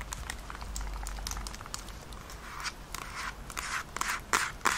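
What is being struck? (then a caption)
Plastic handheld game console. Long nails tap and scratch the back and buttons of a Nintendo Switch, a hollow, handheld-size plastic console with attached controllers, held in both hands. Quick, irregular, dry clicks and scratchy ticks sound bright and crisp, with a faint low rumble underneath in the first part. The last few taps are sharper and louder.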